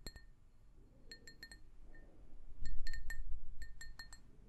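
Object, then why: Glazed ceramic mug. An empty, hollow pink glazed ceramic mug is tapped with long nails, making a quick, irregular series of light, bright clinks. Each tap gives a short ringing tone near 2 kHz with high overtones, over a soft low background rumble.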